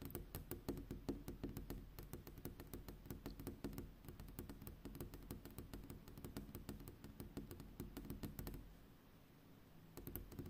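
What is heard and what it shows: Long pink fingernails on a gloved hand tap quickly on a large flat glass window pane at night, making quiet, clicky, rhythmic taps. The taps stop briefly near the end, then start again.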